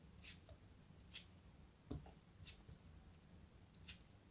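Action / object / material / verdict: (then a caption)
scrape / kinetic sand block cut with a craft knife / kinetic sand / none. A craft knife cuts and scrapes thin slices off a small solid chunk of orange kinetic sand held in the fingertips. Soft, crisp scraping bursts with a bright, hissy edge come at a slow, uneven pace, each dying away quickly. A quiet, low background rumble runs underneath throughout.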